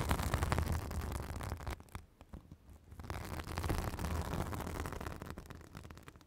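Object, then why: Synthetic fibrous bath sponge. A white, fibrous synthetic bath sponge held against a microphone is scratched with long acrylic nails. The result is a dense, rough scratching rustle with a heavy low rumble, briefly easing off around the middle before picking up again and fading toward the end.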